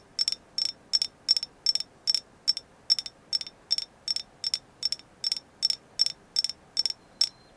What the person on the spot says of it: It's an agate, and I love the way it sounds.